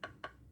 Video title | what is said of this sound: learning powhaten stuff in American history Jamestown Virginia(1) | if i knock it against the wood it's very hard